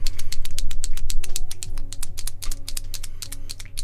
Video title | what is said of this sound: Paint Vasily Kandinsky's "Composition 8" (1923)! – Master Study – Easy Intro to Acrylic Painting | there's a little cartridge inside that helps mix that paint up good